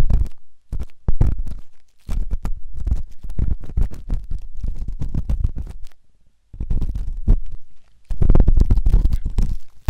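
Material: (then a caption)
Silicone. A flat stainless steel ear pick scrapes inside the ear of a white silicone ear-shaped microphone in repeated scratching strokes. The close, deep, rumbling scrapes come in dense bursts, with brief pauses near 2 and 6 seconds, and get louder toward the end.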